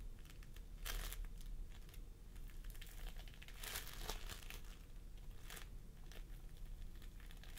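Fingertips of both hands press and squish a pastel mound of sticky floam sculpting foam, made of polystyrene beads, resting on a wooden table. Soft, bright crinkling and crackling bursts rise and fade over a steady low hum, with louder squishes near the first, fourth and sixth seconds.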